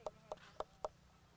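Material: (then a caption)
Coconut shell. A coconut is flicked with a finger four times to judge whether its meat is mature enough for carving, about one and a half layers thick. Each flick gives a short, dull, hollow tock with a mid-range pitch around 600 Hz that dies away almost instantly.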